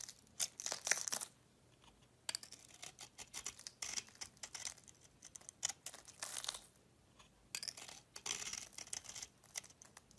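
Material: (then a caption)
Soap. A solid pink and yellow bar of soap with a cream-coloured core is held in the hand and scraped flat with a metal utility knife blade. Bright, crisp, dry scraping strokes come in several quick runs separated by short quiet pauses, with almost no low end.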